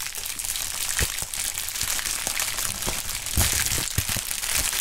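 A pink plastic bubble wrap sheet is bunched between two gloved hands, then crumpled and squeezed. It makes a steady, bright crinkling rustle, broken by occasional sharper crunches and pops.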